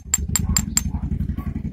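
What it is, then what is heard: Zinc wheel weight, ringing rather than dull like lead. A grey zinc wheel balancing weight, found in a pile of lead ones, is knocked four times, each a sharp, bright ringing tap. A steady low rumble continues underneath. The ringing tone marks it as zinc rather than lead, which sounds duller.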